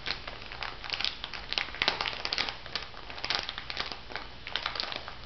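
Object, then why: Plastic bag filled with salt granules. A small clear plastic bag full of white bath salt granules is held up and squeezed by fingertips with long nails. The clip is a dense run of bright crinkles and gritty crunches, with brief sharp peaks over steady rustling.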